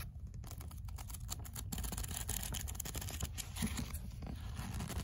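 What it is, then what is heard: Paperback book pages being riffled. An opened paperback book has its paper pages riffled and flipped by fingers, while nails touch the cover. The result is a steady, quiet stream of soft papery rustles and dry scratchy flutters with light taps mixed in.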